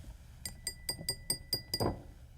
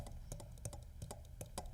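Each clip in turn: First: Seven quick, bright clinks with thin high tones that linger briefly, the sound of a real glass cup. Second: Quick dull clicks with no ring, a plastic cup rather than glass, tapped in a small room.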